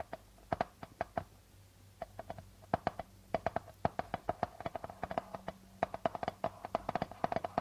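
Fingertips and nails tap and scratch the plastic head of a hollow darbuka drum beside its guitar logo. The result is a quick run of short, dry taps with a hollow ringing tone around 680 Hz. Occasional soft scratchy brushing sits between the taps.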